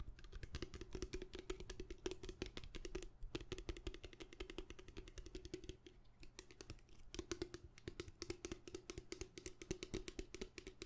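Fast, loud fingernail tapping on the surface of a plastic bottle produces a continuous run of sharp, dense clicks. Each tap dies away almost instantly over a hollow tone around 370 Hz, with a brief lull near the seven-second mark.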